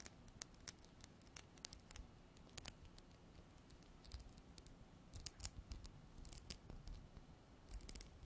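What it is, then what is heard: Small glass bottle. Long black nails tap and scratch a small glass bottle with a white cap, held in hand and containing liquid. The result is a quiet, irregular stream of sharp, bright clicks with brief scraping between them, all over a low, soft rumble.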